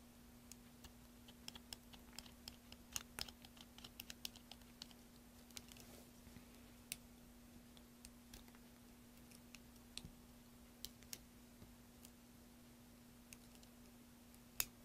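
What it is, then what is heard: Soap bar being shaved. A solid green soap bar held in the hand is shaved with a metal knife, the shavings falling into a tray. Dozens of short, bright, crisp cutting and scraping clicks come at an uneven pace over a quiet background with a steady low hum.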